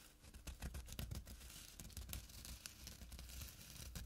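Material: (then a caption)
Burlap. Short nails scratch the coarse weave of a small, flat burlap drawstring pouch. The result is a quiet run of dry, bristly rasps with bright, papery crackle over a soft low thudding, in uneven bursts throughout.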